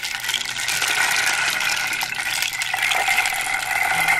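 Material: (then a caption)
Wood. A round wooden rain drum, a flat hollow disc about 25 cm across with a light wooden face painted with dots and dark radial lines, is held in one hand and tilted or shaken while long dark-polished nails tap and scratch its face. Its loose contents make a continuous, dense, ratchet-like rattle that stays steady in level throughout, bright and hissy, centred around 2 kHz with almost no low end.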